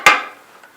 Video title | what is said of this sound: Watch Lawyers Get Dirty Finding Bad Termite Work!!! | if you tap on it, they would have discovered that it was hollow, full of dirt